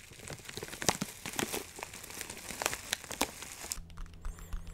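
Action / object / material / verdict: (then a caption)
scrape / plastic zip bag with dried herbs / plastic / none. A clear plastic zip bag partly full of dry herbs is crinkled and squeezed with fingertips, giving dense, bright crinkling with sharp crackles throughout. Near the end the crackling thins out and a low, steady hum comes through underneath.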